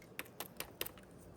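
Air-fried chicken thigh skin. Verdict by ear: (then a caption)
Crispy. Six sharp, crackly taps on the golden skin of a hot, very crispy air-fried bone-in chicken thigh. Each tap is a brief, bright click with almost no ring, spaced unevenly across the quiet clip, and the last two come close together.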